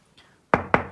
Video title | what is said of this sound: 좋은 자취방 구하기 팁 9가지 (복층오피스텔은 무적권 안됩니다..) | 살짝 쳤을 때 이런 소리 나서 그러면 그 집은 절대 피하셔야 해요